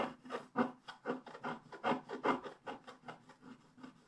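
A wooden stylus scrapes the black wax coating over the colored base of a flat scratch-art card resting on a table, working near the lower right corner. About fourteen short, uneven scratching strokes follow one another, each a dry, papery rasp centered in the midrange with little deep bass or bright top.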